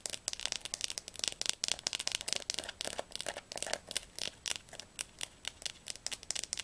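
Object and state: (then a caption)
Hardcover atlas book. Long fingernails tap quickly on the laminated cover and spine of a Diercke Weltatlas, a large, solid, closed hardcover book held upright in the hands. The result is a rapid, dense run of crisp, dry clicks that are bright and high with almost no low end. The taps are packed tightly at first and then fall into more evenly spaced bursts.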